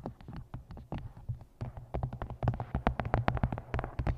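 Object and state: Paperback book, nail tapping.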